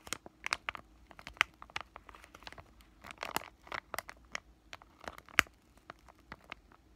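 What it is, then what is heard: Crinkled plastic pouch. A white, thin, palm-sized flexible plastic-laminate pouch of COSRX Acne Pimple Master Patch is held in both hands and squeezed and crinkled with fingertips that have short lavender-painted nails. A rapid, irregular series of sharp, bright crinkles and crackles follows, each dying away instantly with no ring. Louder snaps stand out among the softer rustling.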